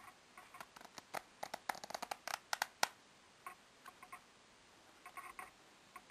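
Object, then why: Deck of coated paper playing cards. A full, solid deck of coated paper playing cards is held upright in both hands over a wooden table while a thumb riffles and flicks along the card edges. About fifteen quick, dry ticks and flaps come in irregular bursts, bright and papery, centered around 820 Hz with no low end. Each snap dies away almost instantly into a quiet background.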